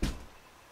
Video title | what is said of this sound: Monroe, Louisiana Paranormal Investigation | it may be the bass vibration from me knocking on the closet door